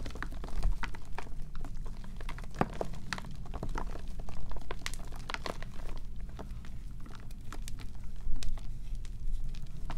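Small white and green-tinged gym chalk blocks of magnesium carbonate, solid and partly pasty, are squeezed, crushed and rubbed between bare fingers and palms over a black plastic bowl. A steady stream of dry, crunchy crumbling and sharp little crackles plays over a low, dull rumble, while pieces and powder fall into the bowl.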